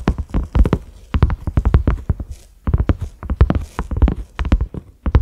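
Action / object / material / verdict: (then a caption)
tap / silicone pot lid / silicone / none. Fingertips and nails of both hands tap quickly on a cream silicone pot lid with concentric ridges and a black center knob. The result is bursts of rapid, dull, low thuds in a clip-clop rhythm, separated by short pauses. Each tap dies away almost at once with no ring.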